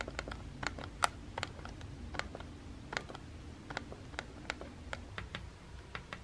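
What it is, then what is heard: Plastic instant camera being tapped. A fingertip and nail steadily tap and press the round button next to the flash on a small, hollow white plastic Instax instant camera. About 20 short, dry plastic clicks ring out, bright with a tone near 1.3 kHz, over a low, quiet background hum.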